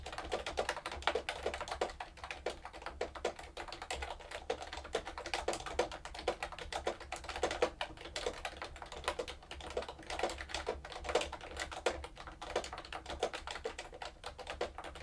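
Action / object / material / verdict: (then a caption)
tap / plastic keyboard with round plastic keycaps / plastic / none. Long nails type quickly on a plastic keyboard with round plastic keycaps. A steady stream of short, sharp clicks and taps rings briefly and brightly, with the tone centered around 500 Hz over a faint low hum.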